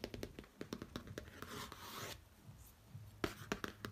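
Fingertips and short nails tap, trace and rub over the flat, rigid glossy pop-art cover of a large laminated cardboard hardcover notebook lying on a bedsheet. Quick, dry, soft tapping clicks come first, then a longer, brighter, hissy rub, then a few sharper taps near the end. It is all quiet and close, with no ringing after the hits.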